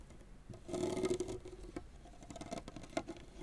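Fingernails of the left hand scratch and rake quickly and continuously across the synthetic string bed of a tennis racket lying flat. The result is a soft, quiet patter of rapid, irregular scratchy ticks with a faint humming tone near 650 Hz, swelling louder in the first second and flaring briefly again near the end.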